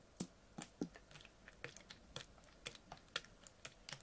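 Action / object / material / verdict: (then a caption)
tap / plastic water bottle tapped with fingernails / plastic / none. A full, clear ribbed PET water bottle with a blue cap is held sideways and tapped with fingernails. The taps are short, dry clicks with bright, high ticks and a little low thump, each dying away almost instantly. They fall in a quick, uneven patter, centered around 3.3 kHz.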